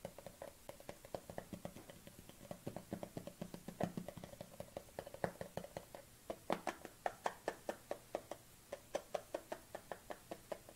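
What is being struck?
Small plastic cosmetic jar with lid.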